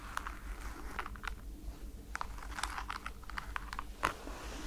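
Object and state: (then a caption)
Rubber foam slide slipper. Long nails tap on the holographic strap and the rubber foam sole of a white NASA slide slipper. Short, dry clicking taps come in an uneven series, each stopping almost at once, with a bright edge over a steady low background rumble.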